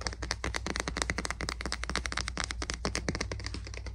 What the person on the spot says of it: 18:27 Tapping on the Wood of the Boot Brush